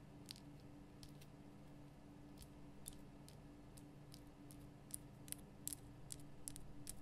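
Long painted nails tap and scratch the rough surface of a large, lit pink Himalayan rock-salt lamp, a solid crystal block. Short, sharp, bright clicks come at an irregular pace and grow denser and louder toward the end, over a quiet, steady low hum.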